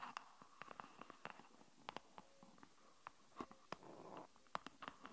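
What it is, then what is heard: Silicone phone case, tapped and scratched. Long nails tap and scratch a green silicone avocado-print phone case with a popsocket, on a phone lying on a wooden table. The result is a quiet run of sharp, short clicks with a hollow tick around 1.1 kHz, separated by soft scraping rubs.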